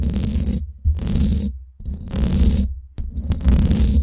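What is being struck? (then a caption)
Domed steel mesh microphone grille. Long nails scratch the hollow, domed steel mesh head of a Blue Yeti microphone in four separate bursts with short silent gaps between them. Each stroke gives a heavy, boomy low rumble under a rough, bright scratchy hiss.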